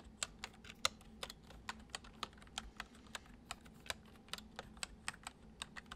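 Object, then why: Plastic computer keyboard. Fingertips tap the keys of a full-size white plastic computer keyboard resting on a wooden desk, typing gently. About 21 short, crisp clicks come in an uneven rhythm, each bright and dying away almost at once over a faint low hum.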